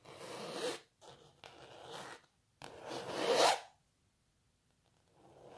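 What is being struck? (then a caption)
Painted canvas. Long natural nails scratch and rub across the textured paint of a canvas painting of a cellist. The result is a series of dry, bright, zipper-like rasping strokes separated by short silences. The loudest stroke swells near the middle before a fainter one begins at the end.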